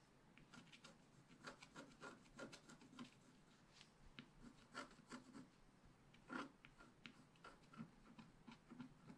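A wooden stick scratches the coating of a black-coated scratch-art paper page held flat by hand. Quiet, dry scraping strokes come in a steady series of short rasping bursts over a soft continuous rub.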